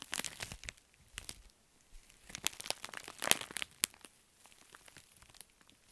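A pink metallic foil bubble mailer is bent, squeezed and crinkled in both hands while fingernails scratch across it. The result is a quiet, bright crinkling and crackling made of dense, sharp, dry bursts, with a few louder snaps near the middle. Short pauses separate the bursts.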